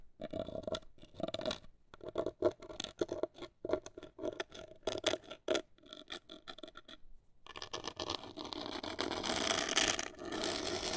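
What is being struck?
Cardboard box.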